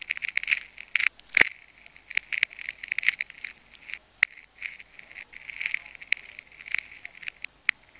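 A metal craft knife blade scratches and slices along a cut in a solid ball of layered pink and clear adhesive tape while fingers hold the cut open. The result is a rapid series of sharp, dry crackles and scrapes. The sound is bright and high, centered around 2 kHz, with almost no low end and a few louder snaps standing out.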